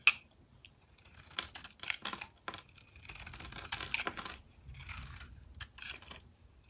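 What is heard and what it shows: A metal blade scrapes and shaves flakes off a solid, rectangular mint-green soap bar with embossed text, held in the hand. A sharp click opens a run of bright, dry, crackling scrapes that come in short bursts with almost no low end or ring.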